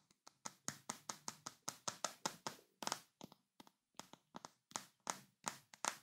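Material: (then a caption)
Glass. A large, full glass Nutella jar with a paper label and a white plastic lid is held in both hands while fingertips and short nails tap its glass sides. About two dozen quick, quiet taps sound in an irregular rhythm, each a bright, crisp click with a faint glassy tone and almost no ring.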